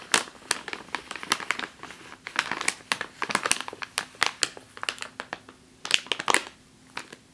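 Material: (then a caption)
Plastic. Long fingernails on one hand scratch and tap a full plastic bag of flour, producing a quick, irregular run of bright, crisp crinkles and sharp ticks. Each tap dies away almost instantly, with softer scratchy rustling between the louder clicks and almost nothing in the low end.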